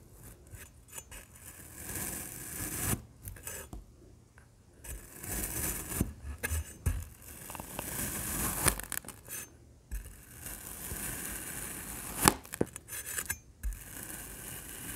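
A large printed metal knife slices crosswise through a solid black kinetic sand block, which crumbles as it is cut. The result is soft, gritty scraping and crunching in uneven bursts, with a few sharper crackles and bright, sandy hiss.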